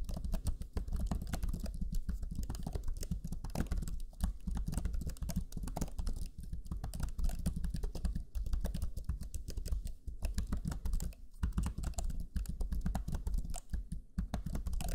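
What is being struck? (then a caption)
Plastic laptop chiclet keyboard. Fingertips of both hands type rapidly on the black, low-profile plastic chiclet keys of a Lenovo Legion 5 laptop keyboard. A dense, continuous patter of short, soft key-press taps dominated by low thuds runs for the full fifteen seconds, with only brief pauses between bursts.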